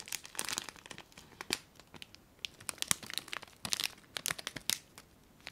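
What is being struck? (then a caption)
Plastic bag of foil confetti. A small clear plastic bag full of colourful foil confetti is crinkled and scrunched between fingers and long nails close to the microphone. Quick, bright, dry crinkles come in irregular bursts with almost no low end, each snapping off instantly.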